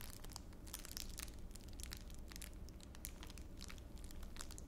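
A small wad of clear plastic wrapper is rubbed and crushed between both palms held beside the ear. It makes a steady stream of bright, crackling crinkles over a low, continuous rumble, with no pauses.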